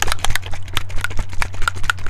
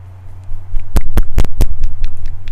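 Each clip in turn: First: bottle of high flow acrylic paint, thin watery contents. Second: soft body acrylic paint, fluid inside container.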